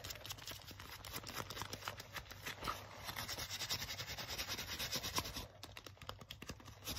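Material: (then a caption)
Leather. Fingertips and nails quickly rub and scratch along the shiny sleeve of a worn black leather jacket. The sound is a fast, bright, dry scratching of many short strokes over a faint steady low hum. It eases slightly just past the midpoint and then continues.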